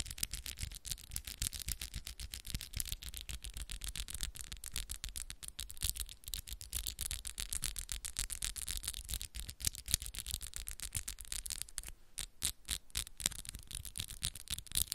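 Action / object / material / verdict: tap / acrylic press-on nails / acrylic / none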